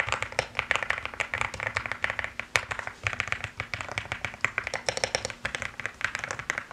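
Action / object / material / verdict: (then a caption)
tap / mechanical keyboard with plastic keycaps / plastic / none. Two hands type quickly with fingertips and nails on a mechanical keyboard with pastel plastic keycaps. A dense, continuous stream of sharp, bright clacks follows, each dying almost instantly, with a strong high-mid click and very little low end.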